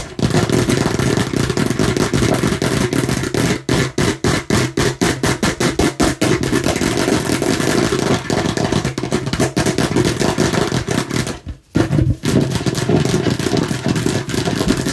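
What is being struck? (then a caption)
Hollow hard plastic container shaped like a watermelon slice. A hollow, hand-sized hard plastic watermelon-slice container with a red cap, held in one hand, is tapped and scratched with long manicured nails and fingertips. Dense, rapid clattering taps and scratchy rubbing run almost continuously, with a hollow, mid-low body and short, dry decays. The sound briefly drops out near the 11.5-second mark before resuming.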